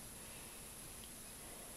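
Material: Nothing is struck.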